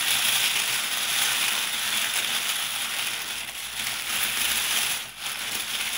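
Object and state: Nothing is struck.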